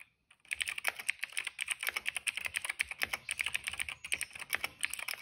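Fingertips type steadily on a cream plastic mechanical keyboard with black, purple and yellow keycaps and a hollow case. After a brief silence, a quick, uneven run of sharp, bright clacks follows, each key strike dry and short, centered around 2.2 kHz with almost no low end and no ring.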